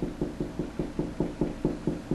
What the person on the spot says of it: it's a higher pitch noise and I know that's right where the stud is